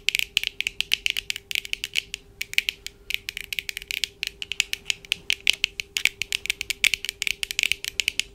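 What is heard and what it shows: Long dark acrylic nails tap and scratch the lenses and frames of black plastic-framed eyeglasses worn on the face, using both hands. A rapid, uneven stream of sharp, bright clicks and ticks centers around 3 kHz, with no low end and almost no ring. A faint steady hum sits underneath throughout.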